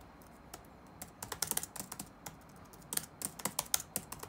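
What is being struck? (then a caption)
Plastic laptop keyboard. Fingertips tap rapidly on the black plastic keys of an open laptop resting on a wooden desk, producing around eighteen quick, irregular clicks. Each tap is a crisp, bright tick with almost no ring and little low end, set against a quiet background.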